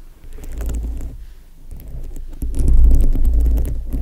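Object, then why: Foam microphone windscreen covered with plastic rhinestones. Long nails tap and scratch over the colorful plastic rhinestones covering a foam microphone windscreen, making close, muffled clicks and scrapes. The sound is dominated by a deep low rumble that swells louder in the second half, with brief bright ticks from the studs.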